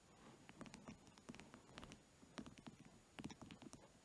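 A long, solid, orange-varnished wooden pencil is held over a fluffy blanket and tapped and scratched along its shaft with fingertips and nails. Quiet bursts of quick, soft taps come in three clusters, each with a low woody knock and bright, crisp clicks. Faint scratchy rustling fills the gaps between them.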